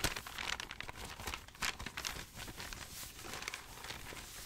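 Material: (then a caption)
Paper. Hands fan through a stack of aged, crinkled, yellowed paper sheets, then hold up a single large sheet and crinkle it while fingertips with dark nails rub and rustle it. The result is a steady stream of dry, bright crinkling and crackling, with short sharp rustles standing out over a soft papery hiss.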